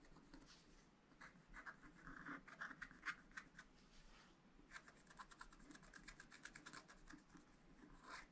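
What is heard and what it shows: A wooden stylus scratches and draws fine strokes across a flat sheet of black-coated scratch-art paper in a spiral pad, revealing colour underneath. Quiet, dry scraping comes in short bursts and longer rasping passes, with a bright, hissy edge and a gritty tone around 1.6 kHz. Brief pauses fall between the strokes.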